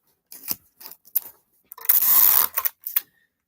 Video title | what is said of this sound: Shipping out 100+ Items | we give that the shake test nothing's moving in there